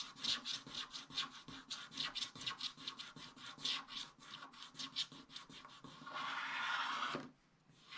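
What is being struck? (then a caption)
Coated scratch-art paper page scraped with a wooden stylus. A wooden stylus scrapes the remaining black coating at the left edge of a scratch-art paper page in a spiral book. A quick run of short, bright, raspy strokes gives way to one longer, steady scrape lasting about a second, and then the sound drops to near silence.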